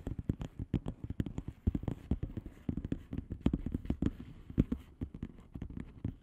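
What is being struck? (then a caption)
Plastic bubble wrap padded envelope. Long fingernails of both hands tap fast on a flat blue plastic bubble wrap padded envelope with air-filled bubbles. The result is a rapid, uneven patter of short, dull, low-pitched taps with little brightness, each dying away almost at once.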